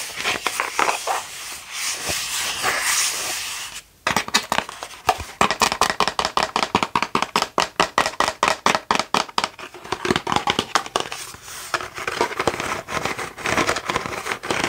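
A hand-sized hollow plastic Halloween skull is held up and worked with long nails: first a bright, rasping scratching, then after a short pause a rapid run of sharp, clicky taps. It ends with more scratching and light tapping, each tap dry and brief with almost no ring.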